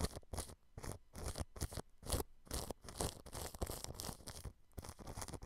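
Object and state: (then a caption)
Cling film over a microphone, brushed. A thin paintbrush brushes clear cling film stretched over the grille of a white dome microphone. It makes a series of quick, crinkly swishing strokes with low, close thumps and bright crackle. The bursts come in rapid succession with short gaps between them.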